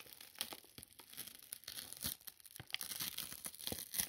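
A large, empty, crinkled white paper mailing envelope is held in both hands while its opening is pulled apart and the paper is crumpled and torn with the fingertips. Dense, bright crinkling and tearing come through as a quick run of short, dry crackles, mostly high in pitch with very little low end. Each crackle dies away almost instantly.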